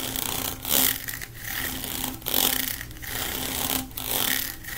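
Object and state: Plastic pop tube scratched.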